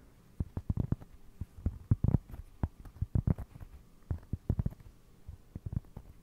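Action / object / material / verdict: tap / round flat cork trivet / cork / none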